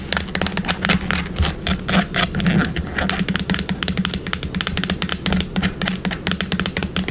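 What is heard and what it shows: Long pink nails rapidly tap and scratch the body of a yellow plastic bottle of wood polish with a brown cap, held sideways. A quick, steady stream of sharp, bright clicks mixes with scratchy rasps over a low, constant hum, with each tap dying away almost at once.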